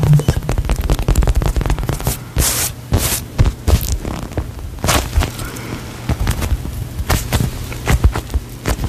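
A hand-sized, solid polyurethane foam toast-slice squishy toy with a face is squeezed and tapped with long nails close to the microphone. A rapid, dense run of soft, muffled taps and crackly squishes sits over a low, bass-heavy rumble, with occasional brighter hissing bursts as the foam is pressed.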